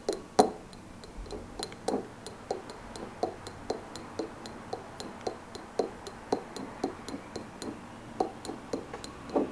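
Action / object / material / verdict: tap / glass candle jar filled with wax / glass / none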